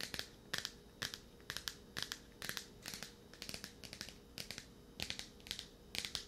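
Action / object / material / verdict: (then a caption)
tap / paperback book with glossy card cover / paper / none. Fingernails tap and scratch a "Olympians: Hades" paperback graphic novel, a solid paper book with a glossy card cover, held close to the mic. Quick bursts of crisp, bright clicking and scratchy rasping repeat in irregular clusters, each dying away almost at once.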